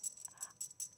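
Two real jade bangles worn on a wrist clink together five times, giving bright, very short, high-pitched ticks that sound like metal bangles. The ringing marks them as genuine jade, because its density makes the bangles ring on contact in a way imitations would not.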